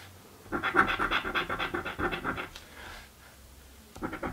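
A coin scratches a thin, flat purple cardboard scratch-off lottery ticket (a birthday scratchie) in a quick run of dry, rasping strokes for about two seconds. A soft brushing pause follows, then a final short burst of scratching.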